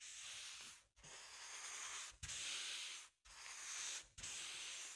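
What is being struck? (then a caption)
Inflated latex rubber balloon. The end of a wooden or plastic handle is rubbed and pressed across the surface of a large, hollow, inflated green latex balloon with a llama print. Five long, bright, hissy strokes sweep across the rubber, separated by brief pauses, with a soft low bump as each new stroke begins.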